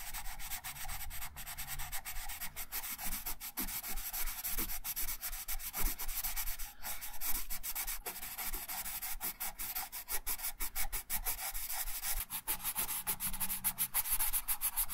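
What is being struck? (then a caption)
Wooden coloured pencil rubbing on a paper sheet over a wooden table. A wooden colored pencil, held in the right hand, rubs colour onto a thin printed paper coloring sheet lying flat on a wooden table in steady strokes. The strokes make a continuous dry, scratchy rasp with a bright hiss, over a low steady hum. The rubbing keeps an even, quiet level throughout, with small repeated swells.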